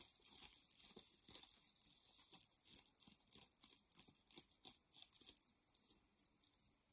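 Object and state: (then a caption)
Nylon mesh shower puff being scratched. A white, palm-sized, soft and gathered nylon plastic-mesh shower puff is scratched and crinkled with long painted nails and fingertips. The result is quiet, dry, bright crinkling and scratchy rustles in quick, uneven bursts, with almost no low end and no ring after each stroke.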